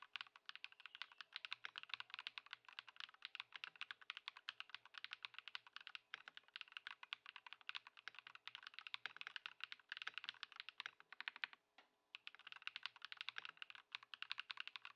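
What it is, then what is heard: Plastic mechanical keyboard being typed on. Both hands type continuously on a compact white Ducky One 2 SF mechanical keyboard with plastic keycaps on a wooden desk, modded with Poron foam and swapped to Lumia Matcha switches. The result is a dense, steady run of short, bright, crisp keystroke clacks with almost no low end, briefly pausing just before the twelve-second mark before resuming.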